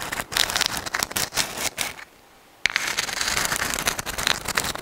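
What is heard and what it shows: A dried white sand dollar shell, a thin, flat, hollow, palm-sized calcium carbonate skeleton, is held in both hands close to the microphone and scratched with long acrylic nails. The result is dense, bright, crackly scratching with little low end, broken by a brief silence near the middle before the scratching resumes.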